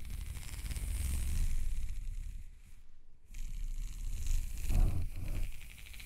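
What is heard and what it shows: Long red nails scratch and rub along the ridges of a black, ribbed, hollow plastic corrugated hose. The result is a continuous raspy, rustling scrape with a low rumbling undertone and a bright, hissy edge. It pauses briefly near the middle, then resumes and swells before tapering off.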